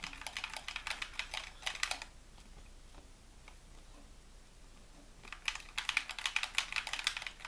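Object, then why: Plastic game controller. Fingertips rapidly tap and press the buttons of a white, hollow plastic handheld game controller held in both hands. Bursts of bright, clicky plastic taps fill the first two seconds, fall to a quiet pause, then return more densely near the end.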